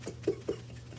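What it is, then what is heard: Prank can with no jelly beans inside. A novelty prank can, presented as holding jelly beans but actually containing spring snakes, is shaken three times. Each shake gives a short, muffled mid-pitched thump with no clinking of beans, because the can holds coiled spring snakes rather than candy.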